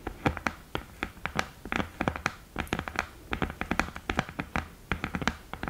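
Long green nails tap quickly and scratch on the lid top and the mirror of an open cardboard eyeshadow palette with a thin, hollow mirror lid. The result is a rapid, uneven run of short, dry clicky taps with a hollow low body and bright crackly edges, with faint scratching between them.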